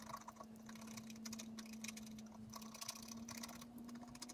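A wooden stylus scratches lines into the lower trunk area of a thin, flat sheet of scratch art paper while the other hand holds the sheet flat. Quiet, dry, bright scratching strokes come in rapid bursts over a steady low hum near 220 Hz.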